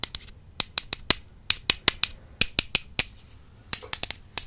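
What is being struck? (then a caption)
Two slim wooden makeup brush handles. Two slim, solid wooden makeup brush handles, held with long purple nails, are tapped and crossed against each other close to a microphone. They make 19 sharp, dry, bright clicks in an uneven rhythm, each dying away almost instantly with no ring and centred around 3.7 kHz. Faint scraping fills the gaps between taps.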